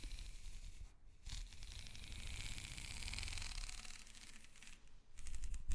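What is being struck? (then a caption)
Corrugated plastic hose. Long nails scratch up and down the corrugations of a black, ribbed, hollow plastic hose held upright. The result is a steady, rapid rasping with a bright, fizzy texture over a low rumble, broken by brief pauses near one second and again near five seconds before the scratching resumes.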